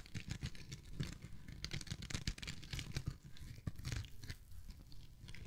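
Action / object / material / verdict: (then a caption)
scrape / foam kitchen sponge / foam / none. A yellow and cream foam kitchen sponge held in the hand is squeezed and scratched with the fingertips and nails. It gives a close, quiet run of crinkly, crackling foam sounds, with bright scratchy bursts over a soft low rumble of squeezing.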